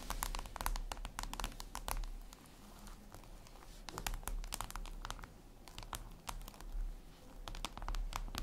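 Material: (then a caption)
Glass. Long red nails tap and scratch a flat, glossy black reflective glass surface, likely a tablet screen. Quick, sharp clicks come in irregular bursts with short, bright scratching between them, over a steady low hum. Quieter stretches of scraping fall between busier flurries of taps.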